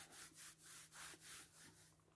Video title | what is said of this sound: WAHHH TROP CONTENTE DE MES ACHATS ACTION SCRAP NOEL #scrap #haul #loisirscreatifs #action | Ça fait plastique, hein, évidemment. Ça fait comme des gouttes.